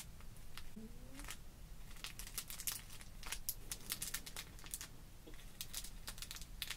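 A small paintbrush is brushed and scratched over the clear plastic compartments of a card-backed package of rainbow sequins held flat on a wooden table. Quick, bright, crinkly scratches come in rapid uneven bursts over a steady low rumble.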